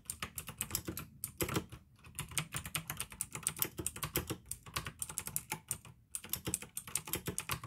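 Fingertips type steadily on a pink AUKEY plastic mechanical gaming keyboard with blue switches, producing a dense stream of sharp, bright clicks with short, dry decay. The rhythm stops briefly a few times, around 1 and 2 seconds and again near 6 seconds, then resumes.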